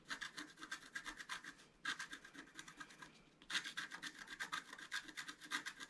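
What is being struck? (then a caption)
Black-coated paper scratch-art card scratched with a wooden stylus. A thin wooden stylus scratches the black coating of a flat, thin, solid scratch-art card of black-coated paper board, about A4 size, in many short strokes while the other hand steadies the card. It makes a quick run of dry, bright, rasping scratches with almost no low end, broken by brief pauses near two seconds and around three and a half seconds.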